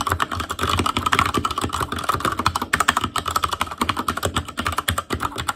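Fingertips of both hands type continuously on an ASUS ROG Claymore Core mechanical keyboard with Cherry MX Red switches, black plastic keycaps on a metal frame, and a hollow housing with RGB backlight. A steady stream of quick, dry clacks with almost no ring layers a low thock under a sharp click centered near 1.8 kHz.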